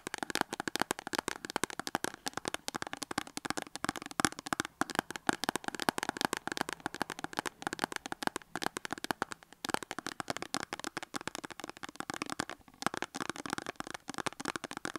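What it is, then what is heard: Cardboard soap box, tapped and scratched. Long acrylic nails quickly tap and scratch the front face of a small cardboard soap box that stands on a table with a soap bar inside. The result is a dense, continuous stream of dry, crackly clicks and scrapes with a mid-range body, very short decay and almost no low end.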